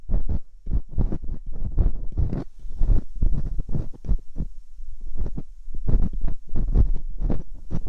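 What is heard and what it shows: Metal dental picks scratch inside the canals of silicone ear molds on a binaural microphone. The result is a rapid run of dry, close-up scraping and rubbing strokes, heavy and muffled in the low end, with short bursts that stop dead without ringing.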